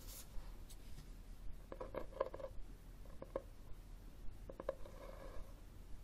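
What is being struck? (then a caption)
Cloth-covered hardcover book. Fingernails scratch and tap the textured front cover of a red cloth-covered hardcover book held upright. Quiet, irregular clusters of soft, dry taps with a faint mid-pitched knock mix with brief scratchy rubs over a low background hum, each tap dying away almost instantly.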